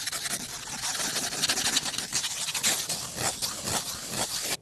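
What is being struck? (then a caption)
Cardboard box of colored pencils. A small, closed kraft cardboard box of colored pencils, likely full, is held in one hand while fingertips and nails scratch and scrape its surface. The result is a dry, bright, hissy scraping texture with quick rough strokes and almost no low end, fading out abruptly at the end.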